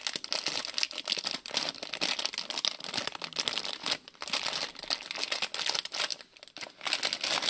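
Fingers crinkle, squeeze and shake a small printed plastic-film Lego City polybag with loose bricks inside. The result is a steady, bright, dense crinkling with quick clicking rattles of the bricks and almost no low end, briefly dipping in loudness around four seconds and again near six and a half seconds.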